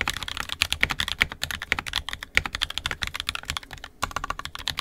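Both hands' fingertips type continuously on an NK65 Entry Edition 65% mechanical keyboard with a purple plastic case, red and black plastic keycaps, and lubed, filmed 67g Tangies switches. The result is a rapid, steady stream of short, bright, crisp keystroke clacks with very little low end and almost no ring between strokes.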